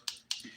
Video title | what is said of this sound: The Daily Nail: Easter Egg Nails! w/Revel Nail #diynails #dipnails #dippowdernails | Clack on your nail or tap on your nails and hear that clock that means they ready to be filed